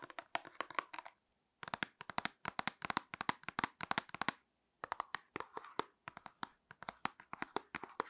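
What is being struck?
Small paperboard box.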